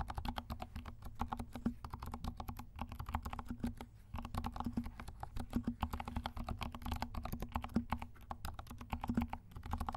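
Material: Plastic.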